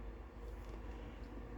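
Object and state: Nothing is struck.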